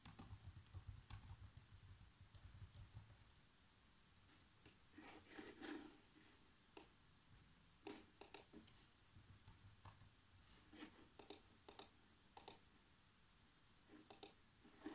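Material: Plastic.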